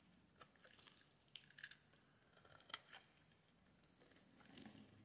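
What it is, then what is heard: Bar soap being shaved with a blade. A metal blade shaves the edge of a solid yellow bar of soap, making quiet, crisp, bright scraping and clicking sounds. Short sharp bursts are spread over a soft hiss. They die away almost instantly, with no ringing.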